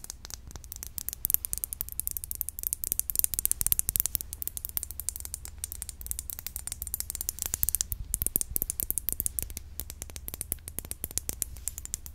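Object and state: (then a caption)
Glass perfume bottle. Fingernails tap quickly and continuously on a glass perfume bottle. Dense, crisp clicks with almost no ring sit over a steady low hum for the full twelve seconds.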